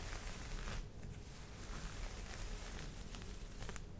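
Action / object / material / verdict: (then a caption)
scrape / folded cotton terry towel / cotton terry / none. Long nails scratch and tap across the surface of a folded green cotton terry cloth towel. The result is a quiet, continuous soft rustling scratch with a low, muffled body, dotted with faint brief bright ticks.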